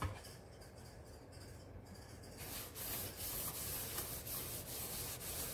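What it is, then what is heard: Stainless steel kitchen sink being scrubbed. A hand scrubs the walls and bottom of a large, hollow double-basin stainless steel kitchen sink with a yellow sponge over a layer of cleaning powder. A soft, steady rubbing with a low hollow rumble gives way after about two seconds to louder, brighter scrubbing strokes that swish back and forth.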